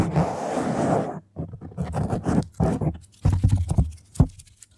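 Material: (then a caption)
Foam. Long nails rapidly scratch and tap a black foam microphone windscreen. A dense, rushing scrape in the opening second gives way to uneven bursts of muffled, low, rumbling scratches and soft thuds, separated by brief pauses.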